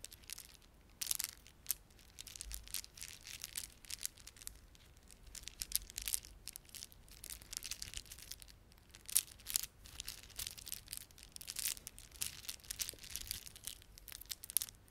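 A plastic beaded ornament is rubbed and squeezed by fingertips, producing quiet, bright, crinkly clicks and crackles. The beads give short, dry ticks in irregular clusters, with some sharper bursts standing out against a soft hiss.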